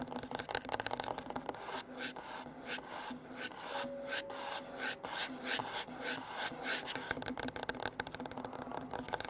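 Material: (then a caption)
Wood. Fingertips and nails of both hands scratch and tap the flat, solid top of a dark wooden table with a recorder lying on it, while an open book at its edge stays untouched. A steady stream of bright, dry rasping scratches is broken by quick, light taps that die out almost at once.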